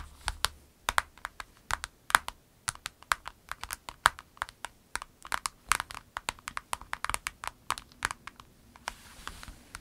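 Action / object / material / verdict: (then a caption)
tap / vinyl pencil case with pens inside / vinyl / none. Long acrylic nails rapidly tap and scratch a small, flat, clear orange-tinted vinyl pencil case with orange piping and a snap flap, filled with pencils and pens and held on a table. The result is a steady stream of sharp, dry, clicky taps with bright crinkly edges and almost no ring, mixed with light scratching and a faint low hum underneath.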